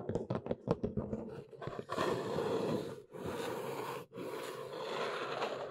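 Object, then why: Large flat cardboard box. Long nails tap and scratch the top of a large, flat, hollow brown Neewer cardboard box. About ten quick, dull taps come first, then a steady, dry scratching that breaks off briefly twice before continuing to the end.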